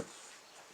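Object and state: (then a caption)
Baked focaccia, hollow (cooked through). A single hollow tap on a freshly baked focaccia just out of the oven gives a short, dull knock that dies away almost at once. The hollow sound shows the bread is cooked through, with a very crispy bottom and plenty of air bubbles inside.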